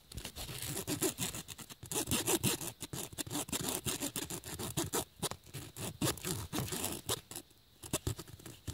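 The metal-and-plastic tip of a braided USB cable, held in the fingers, scratches and rubs across the flat woven black nylon/polyester fabric surface of a bag or case. Quick, irregular strokes make a dense, bright, raspy scraping with a low rustle underneath. There is a brief lull near the end before the scratching picks up again.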